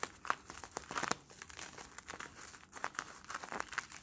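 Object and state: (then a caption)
Crinkled plastic bubble film. Fingertips squeeze and crinkle a hand-sized, hollow plastic Bloonies bubble, a crumpled film of clear sticky plastic with a bluish patch. It makes a dense run of quick, dry crinkles and sharp crackles that fade almost instantly, bright and thin with almost no low end.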